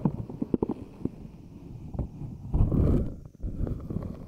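Hands squeeze an inside-out silicone puffer ball with a glossy, smooth pink silicone/rubber skin while long nails tap and scratch its surface. Quick, dull, low-pitched taps come first, then a louder, sustained squishy rubbing swell before more soft taps. The sound stays deep and muffled throughout, with almost no bright content.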